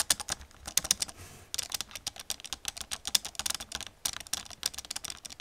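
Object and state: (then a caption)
Plastic computer keyboard. Long nails tap and type on the keys of an old black plastic computer keyboard. The result is a quick, uneven run of sharp, bright clicks with almost no low end, pausing briefly twice. Each click dies away at once.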